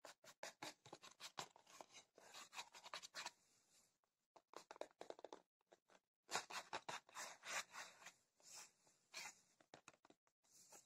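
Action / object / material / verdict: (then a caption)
scrape / cardboard tea box / cardboard / none. A rectangular printed cardboard tea box, hollow with tea bags inside, is held and scratched with long fingernails. Quiet, bright, dry scratching comes in quick bursts and longer rasping strokes, with brief pauses between passages.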